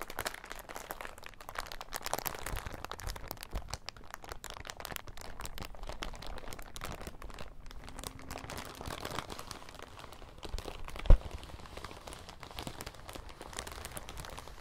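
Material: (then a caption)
Plastic. An empty, thin, transparent, crinkly plastic bag is squeezed and crumpled in both hands above a table. It makes a steady stream of soft, dense crinkling and crackling throughout. One sharper, louder crunch stands out near the eleven-second mark.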